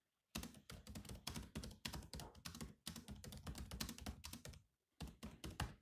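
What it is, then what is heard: Laptop keyboard with plastic keys. Fingertips type fast and densely on the black plastic keys of a grey laptop, producing a steady stream of short, clicky taps with a low, thumpy body and bright edges. The keystrokes run in quick bursts, pause briefly near the end, then resume.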